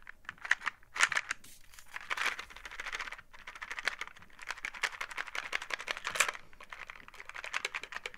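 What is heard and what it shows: Long painted nails on gloved fingers tap and scratch the surface of a small printed cardboard "WAR" board-game box held in both hands, which appears to contain dice. A dense, rapid stream of dry, bright clicks and scratchy crinkling rises and falls, with a few sharper, louder taps standing out. Each tap dies away almost instantly.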